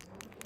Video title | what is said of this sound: Final Day - Tv Table - Mezz Bucharest Open | can you hear something clicks inside this watch